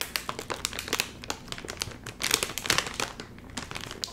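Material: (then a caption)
Plastic film. Fingertips squeeze, crinkle and pull at the top seam of a full, sealed Doritos chip bag made of crinkly metallized plastic film. Dense, bright crackling crinkles come in quick overlapping bursts, briefly growing louder midway before settling back to softer rustling.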